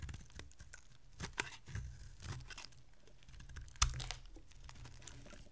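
A solid white dry bar of soap held in the hand is scraped and carved with a small metal blade, and thin flakes break off. Quiet, dry crunching and crinkly scraping come in short bursts over a low background rumble. Two sharper, brighter snaps stand out, and each one dies away almost instantly.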